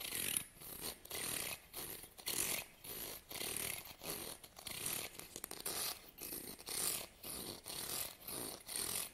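Fingernails strum across the teeth of a solid, medium wide-tooth wooden comb held in the other hand. Each strum is a quick, bright, raspy rattle, repeated at a loose rhythm of about one per second with short quiet gaps between.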